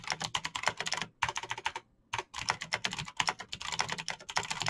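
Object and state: Plastic mechanical keyboard.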